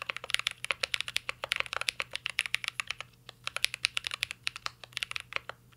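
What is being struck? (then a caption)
Mechanical keyboard with plastic keycaps and metal case. Fingertips type steadily on a mint-green Cyberboard R3 mechanical keyboard with a metal case and plastic keycaps, producing about 42 sharp, bright clacks with a brief pause midway. Each tap is crisp and clicky with almost no ring or low end.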